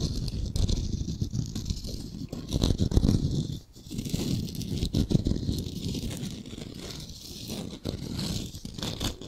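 Fingernails tap and scratch a solid, palm-sized, unfinished ball of raw light wood as it is turned in the hands. The result is a close, steady run of dull scratching and soft tapping, weighted heavily toward the low end with a faint bright hiss above. Short quiet dips break the texture near 3.7 and 7.8 seconds.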